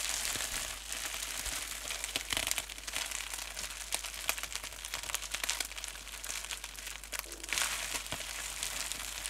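Clear plastic bubble wrap folded into a small wad is squeezed and crinkled between fingers and thumbs with painted nails. A dense, continuous stream of bright, crackly crinkles fills the clip, mostly high with almost no low end. Louder bursts of crunching come near the 2.3 and 7.6 second marks.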